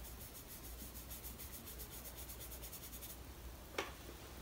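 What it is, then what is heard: Brush rubbed on sketchbook paper. A soft synthetic brush is rubbed and swept across the graphite of a pencil portrait on a large sheet of drawing paper in a spiral-bound Strathmore sketchbook, blending the shading. The result is a quiet, steady papery brushing with rhythmic bright swishes over a low hum for about three seconds. It settles, then a single sharp tap rings out near the end.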